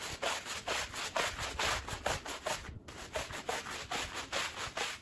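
A long-handled green plastic push broom scrubs back and forth across a small, dirty woven fabric rug soaked with soapy water. About 11 rough, bristly strokes sound in a steady rhythm, each a bright, wet scratching hiss with a faint low thump. There is a short pause just before the third second.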